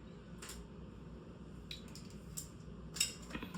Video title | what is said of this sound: Happy Thursday!!! I’ve Missed You!!💗GRWM & Chit Chat Women Over 50!!😚 | You shake it, shake it, shake it. And you can hear that little ball in there rattling around.